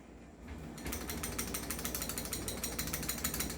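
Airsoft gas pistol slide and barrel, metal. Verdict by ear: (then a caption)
Loose. A stock, non-upgraded Trex 5.1 Hi-Capa airsoft gas pistol is shaken with its slide locked open, and its metal slide and barrel rattle loosely. After a quiet start, a fast, uneven, bright clattering runs steadily to the end. The rattle shows a loose slide, unlike the upgraded pistol, which stays quiet when shaken.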